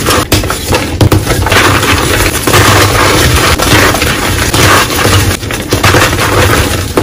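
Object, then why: Reformed gym chalk blocks. Teal reformed gym chalk (magnesium carbonate) in a bowl: molded solid chalk chunks are squeezed, crushed and broken apart by bare, chalk-covered hands and fingertips. Continuous crumbling and crunching is heard, with brittle snaps and loose powder, over a steady low rumble.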